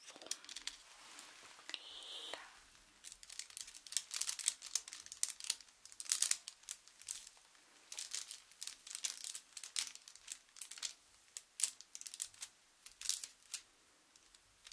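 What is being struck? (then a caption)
Thin sheet of blotting paper rubbed against glass. A small, thin rectangular sheet of blotting paper, held flat against a glass pane, is crinkled and rubbed with fingertips. The result is a quiet, bright, papery crackle of many short crinkling bursts with brief soft rubbing in between and almost no low end.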